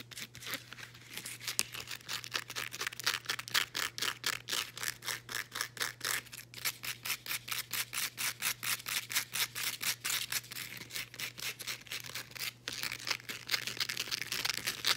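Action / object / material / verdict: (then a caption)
scrape / woven elastic fabric band / woven elastic fabric / none. Long nails scratch and rub a folded blue ribbed woven elastic fabric resistance band, making a quick run of dozens of short, bright, raspy strokes at a steady pace of about two per second for the whole clip. A faint low hum stays underneath throughout.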